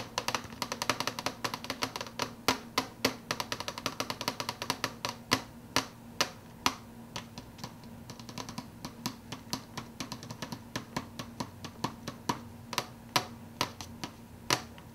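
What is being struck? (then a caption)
Plastic fountain-drink cup with plastic lid. Fingernails rapidly tap and flick the edge of the clear plastic lid on a hollow plastic fountain-drink soda cup. The result is a fast, continuous stream of short, bright, dry clicks that vary in loudness, with sharper accents scattered throughout. A faint, steady low hum sits underneath.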